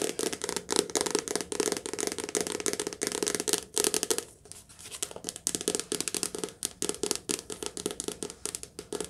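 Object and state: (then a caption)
Soft cover paperback book. Fingertips tap rapidly on a soft-cover paperback book, recorded lo-fi on a phone or headphones during rain in a cottage. Dense, papery taps with a mid-pitched thud and bright crinkly edges run nearly continuously over steady background noise, easing briefly around the midpoint before resuming just as quickly.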